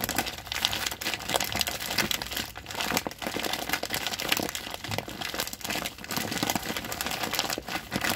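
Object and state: Plastic sack of rice being crinkled.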